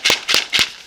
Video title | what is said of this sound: These Gourds will KEEP MOSQUITOS AWAY NATURALLY! | Now you'll hear this gourd as I shake it, like a maraca. So you'll hear the gourd as I shake it.